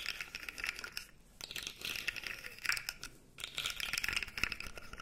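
A light-blue plastic articulated fidget slug toy is held dangling while its segments are flexed and shaken, giving a dense, bright clicking rattle. The rapid plastic clicks come in three bursts separated by two brief near-silent pauses.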